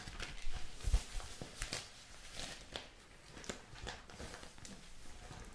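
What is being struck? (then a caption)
Newspaper sheets. Hands handle and turn large sheets of thin newsprint paper, making soft crinkling and rustling sounds. Brief papery crackles with bright edges come at uneven intervals over a low, muffled rumble, and the sound fades gently toward the end.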